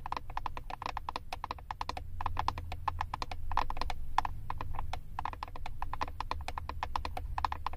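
Long acrylic nails tap fast on the back of a flat plastic eyeshadow compact with a paper label. The result is a rapid, uneven stream of short, dry plastic clicks with a mid-pitched tone near 860 Hz and bright tips. Each click dies almost instantly over a steady low rumble.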